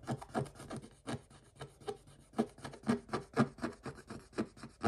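A wooden stick scrapes the coating off a scratch-off coated paper page near a printed dog figure, with the hand held close. It makes a steady run of short, dry rasping strokes, about two per second, each a brief gritty scratch with a brighter hiss on top.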